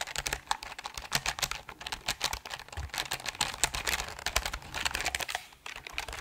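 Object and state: Mechanical keyboard with plastic keycaps.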